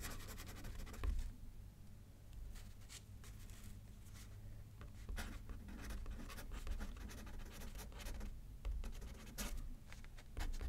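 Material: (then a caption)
Paper. A pen writes by a left hand on a thin paper card resting on a paper pad. It makes quiet, scratchy strokes with bright, brief bursts over a steady low rumble. The soft scratching continues throughout with small swells in loudness.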